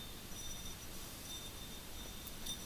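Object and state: Nothing is struck.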